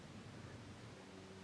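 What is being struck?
Nothing is struck.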